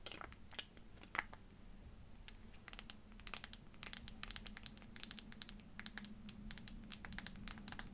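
Long fingernails tap and scratch a small clear glass perfume bottle with a faceted glass cap. The result is a quiet run of crisp, bright clicks and scratchy ticks that speed up midway, over a faint steady low hum.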